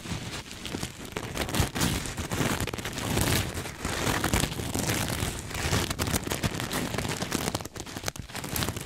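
A soft, stuffed cream sequin throw pillow is hugged close to the mic and scratched with fingertips and nails. It makes a steady, dense crackling and rustling, like rain on a surface, over a low, muffled rumble. Brighter swells of sequin scratching rise and fall throughout.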